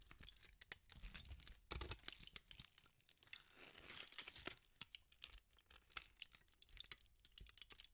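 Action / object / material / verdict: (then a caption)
scrape / thin aluminum foil sheet / aluminum foil / none. A thin sheet of aluminum foil is twisted and crumpled by fingertips with pink nails, giving a dense run of sharp, bright crackles and crinkles. The quick snaps start and stop, with a few quieter pauses, and the sound is mostly high with little low end.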